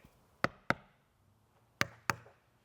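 Four sharp knocks, in two pairs, land on the wall of a residential security container safe made of bent sheet metal and drywall. Each knock is a brief, bright tap with almost no ring, giving an almost hollow sound. The wall sounds thin enough to be cut through with a small reciprocating saw.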